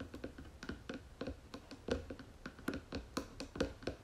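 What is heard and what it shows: Long fingernails tap rapidly on the wooden lid of a round wooden jewelry box, making about seventeen quiet, dry clicks at an uneven rhythm. Each tap is short, with a brief hollow, woody resonance around 500 Hz that dies away almost at once.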